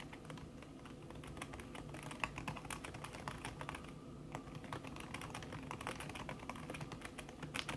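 Fingertips with long red nails type fast on a backlit laptop keyboard in a silver aluminum body, its keys covered by a thin red silicone skin. A dense, steady stream of soft, quick key taps with short clicky transients continues over a low hum, with no pauses.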